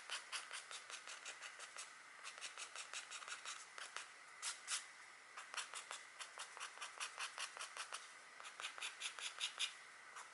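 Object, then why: Wax-coated scratch art card. A stylus scratches fine hatching near the head of a deer etched into a flat black, wax-coated scratchboard card while the other hand rests on the card. A quiet, rapid series of short, dry, bright scratching strokes comes in bursts, with no low end and almost no ring after each stroke.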